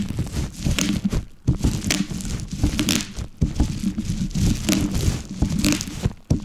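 A wooden rolling pin rolls over a large sheet of plastic bubble wrap with hollow air cells resting on a wooden board, crushing it. The result is a steady low rumble from the rolling, broken by sharp bright pops and crinkling as the cells burst in quick, uneven bursts.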